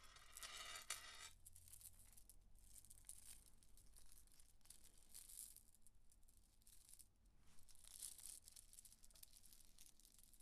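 A small strand of solid, faceted green glass beads is handled over a marble table as long acrylic nails rub and scratch through the beads and the hands gently shake them, while rings on the fingers may clink. The result is quiet, bright, dense clicking and rattling with a low background hum, starting with a brief louder crinkly burst in the first second.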